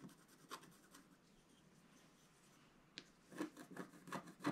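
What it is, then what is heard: Scratch-art card being scratched. A wooden stylus scratches a flat black-coated scratch-art card around an owl's eye. Soft, dry scraping strokes come first, then a quiet stretch of faint hiss, and finally a cluster of quicker, louder rasping scratches with a gritty, bright edge.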